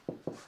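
Two taps on a bonded fibreglass body panel fitted to a kit car give short, hollow, low-mid thuds centred around 350 Hz that die away quickly. The panel sounds hollow but not loose, with no creaking or rattle, as the bonding was meant to achieve.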